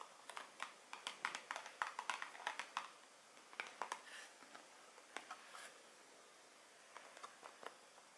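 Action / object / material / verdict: tap / small cardboard perfume box / cardboard / none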